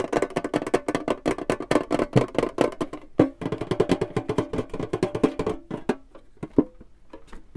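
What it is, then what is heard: Hollow empty wooden box. A small, hollow, seemingly empty wooden box with a printed clown picture on its face is held in one hand and tapped and scratched with the fingertips and nails of the other. It makes rapid, dry, hollow knocks with a woody mid-pitched body and very short decay, mixed with light scratchy textures. The tapping is dense at first, briefly pauses, then thins to sparser, softer taps toward the end.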